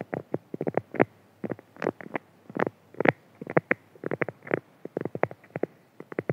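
Fingertips and nails from both hands rapidly scratch and rub a flat, printed beeswax-coated cotton food wrap lying on a table. The result is quick, dry bursts of crinkly scratching, mostly in the mids with a little brightness. Each burst stops sharply, with short pauses between clusters.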